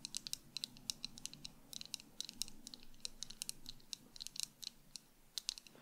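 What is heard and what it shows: Long acrylic nails on both hands tap quickly across the frame and lenses of tortoiseshell plastic sunglasses worn on the face. The result is a rapid, irregular stream of dry, bright clicks that stop instantly with no ring, over a faint low background hum.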